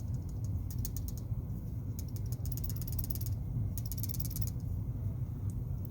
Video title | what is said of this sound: Smith And Wesson Sideburn Folding Knife Video #S&W #sideburn #knife | I think I might have broke it from all the reverse flicking. It's kind of loose here.